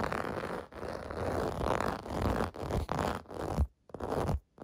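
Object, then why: Plastic bath mat with raised bumps. Fingernails scratch across the raised bubbles of a clear-blue plastic bath mat. The result is a dense, rough, crackling scrape with a low, rumbling body, broken by a few short pauses between strokes.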